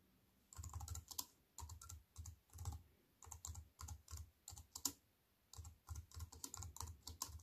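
A slim wireless keyboard with black plastic keys in a grey metal-look frame, lying on a wooden table, is typed on with fingertips with white-painted nails. Short bursts of quick, clattering key taps come with a soft low thump under bright clicks, separated by brief quiet pauses.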